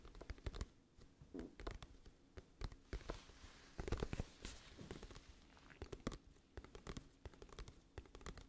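Long nails tap and scratch the cover of a glossy printed cardboard music album case held at a tilt. Many quiet, dry taps land in quick, uneven clusters, each dying away almost at once. A brighter, scratchier rasp swells up between them around the middle.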